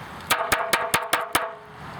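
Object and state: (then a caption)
Porous low-fired terracotta pot. A porous, low-fired Mexican terracotta clay pot is tapped six times, each tap giving a short, dull knock with a brief ring. Its pitch is lower than that of harder high-fired Chinese or Vietnamese pots.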